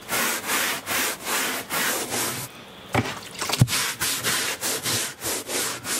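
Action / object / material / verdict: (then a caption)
scrape / woven carpet runner scrubbed with a bristle brush / woven textile / none. A hand-held bristle brush is scrubbed back and forth along a beige woven carpet runner on a motorhome floor near the cabinets, making rhythmic, bright, scratchy swishes. The strokes pause briefly, two sharp knocks sound, and then the steady scrubbing resumes.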